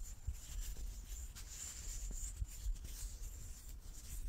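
A large solid light-wood die with dark pips is held in both hands and turned in the palms while fingertips and nails rub and slide over its faces. The result is a quiet, steady scratching and rubbing with a low rumble beneath, a faint high hiss, and a few soft knocks as it shifts.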